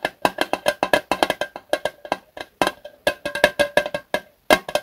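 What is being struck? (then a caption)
Thin metal lighter fluid can. A small Zippo lighter fluid can of thin, hollow metal with a red plastic spout cap is held in both hands and tapped with the fingertips. The result is a quick run of short, dry, hollow taps with a clear ringing pitch near 590 Hz and a bright click on top. Each tap dies away almost at once, with brief pauses between the clusters.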